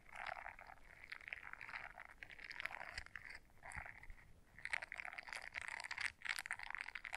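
Long nails scratch the bristles of a small blue silicone scrubber brush folded in half. The result is a dense, quiet, rasping scratch centered in the midrange around 1–2 kHz with bright upper hiss, coming in continuous rough bursts with brief pauses.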